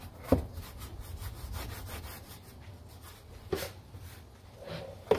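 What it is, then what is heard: Plastic car door panel being brushed. A gloved hand scrubs the lower area and around the armrest of a large, hollow molded plastic interior door panel with foam on a Honda, using a small bristle brush. A steady, rhythmic bristly rubbing is punctuated by four sharp, hollow knocks as the brush strikes the panel.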